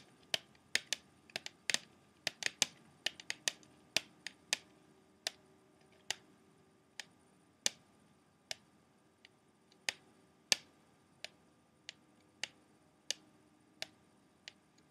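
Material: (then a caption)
Plastic. Fingertips and nails tap on the clear plastic tray of an open, empty clear plastic CD jewel case. Sharp, dry, bright clicks with almost no ring come in an irregular run, quicker and denser at first, then spaced further apart. The taps are quiet and thin, with no low body.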